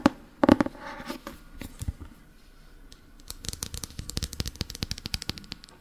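A Harry Potter paperback book with an orange paper cover and a solid stack of pages is held in one hand while its back cover is tapped and scratched with fingertips and nails. A few loud, muffled taps open the clip, followed by soft papery scratching, then a quick run of light, crisp taps with very short decay.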